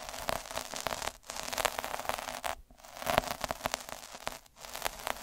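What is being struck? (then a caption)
Metal-needle roller on a felt sheet. A metal-needle derma roller is rolled back and forth across a red felt square, making a dense, crackling, static-like scratching with bright high hiss and a faint midrange tone. The rolling pauses briefly a few times before starting again.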